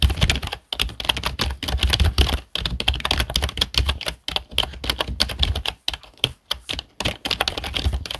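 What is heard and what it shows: Fingertips of both hands type on a black plastic HP desktop keyboard, producing rapid, dense bursts of bright plastic key clicks with a low thump underneath. The bursts are separated by brief pauses, and each click dies away almost instantly.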